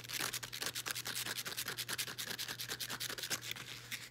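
Long nails rub and scratch along the folded edges of a folded blue woven elastic fabric resistance band. The result is a rapid, uneven run of short, dry, bright scratching strokes, with a faint steady low hum underneath.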